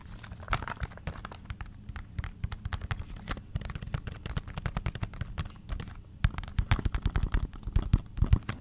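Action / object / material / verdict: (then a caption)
tap / small paperboard box / cardboard / none. A small, hollow-seeming white printed paperboard cosmetics box from REFY, held in one hand close to the microphone, is tapped with long green-painted nails. The result is a rapid, uneven run of short, dry, low taps with almost no ring. The taps grow louder and denser toward the end.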